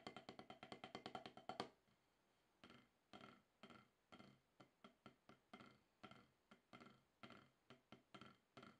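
A wooden drumstick taps a solid, octagonal HQ rubber-top drum practice pad. A quick run of taps with a faint tonal ring comes first, then a short pause, then slower, evenly spaced taps with dry, short-decaying thuds, about 33 hits in all.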